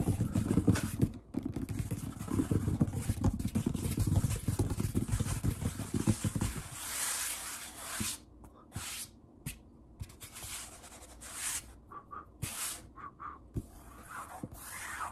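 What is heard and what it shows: Fingertips tap and scratch a large, solid wood-grain tabletop while palms press and rub across its surface. For the first six or so seconds, dense, fast, low thumping and rubbing dominate. After that, the sound thins to sparse, sharp taps and short bursts of bright, dry scratching separated by near silence.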